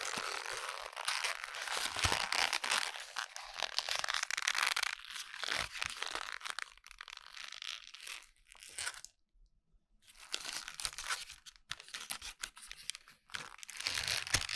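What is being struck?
Sheet of lined notebook paper.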